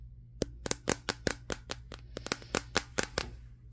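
Fingertips tap on the matte glass back of a Samsung Galaxy S23 phone held in the hands, producing a quick, irregular run of about 14 sharp, dry clicks. Each tap is a bright, broadband tick with almost no ring, over a faint steady low hum.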